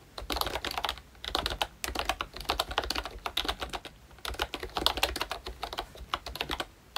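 Fingertips of both hands type on a full-size pink ROYCHE Disney Mickey Mouse retro keyboard with a plastic case, round dark green plastic keycaps and membrane switches. Rapid, bright, short plastic taps come in quick bursts with brief pauses between runs, each tap dying away almost at once.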